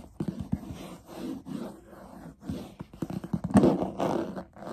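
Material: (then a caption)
Leatherette. Fingernails quickly scratch and tap the textured surface of a closed, hollow black leatherette-covered hard instrument case with stitched edges and metal corner guards, held close. Bursts of dry, rasping scratches alternate with sharp, hollow-sounding taps, mostly low to mid in tone, with short pauses between flurries.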